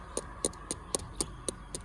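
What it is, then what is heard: Nearly ripe durian. Seven short, dry knocks, evenly spaced, are tapped on a durian fruit. Each knock is a brief, sharp tick with a bright, clicky top and a faint low thud, dying away almost instantly over a quiet background hum. The durian is judged to be close to ripe.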